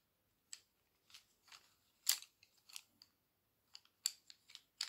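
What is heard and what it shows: A handful of about fifteen solid wooden colored pencils is held in one hand and shuffled and fanned with fingertips and long press-on nails, making them clack and rub against each other. The result is a quiet, irregular series of short, dry, bright clacks with brief rubbing, all high-pitched with no low end, each dying away almost instantly.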